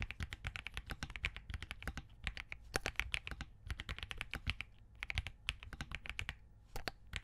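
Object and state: Mechanical keyboard with POM case and plastic keycaps.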